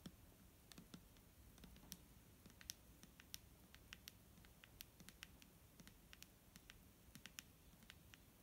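Fingernails tap a clear plastic micellar water bottle filled with liquid, producing a quiet, steady run of quick, sharp clicks with a high, bright edge. Each tap dies away almost instantly over a faint low background hum.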